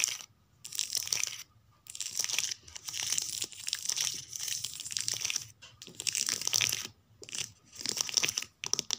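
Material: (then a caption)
Card. Long nails scratch and tap along the card spines of a row of paperback books on a shelf. The sound is a series of bright, dry, crackly scratching bursts, nearly all high-pitched with almost no low end, separated by brief silent pauses.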